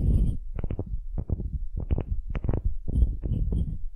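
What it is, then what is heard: Wooden cube scratched with nails. Long nails scratch rapidly across the end grain face of a solid, light wooden cube held in both hands. The result is a run of dull, low, muffled scratching bursts with a soft rumbling texture and almost no brightness, each burst fading quickly before the next.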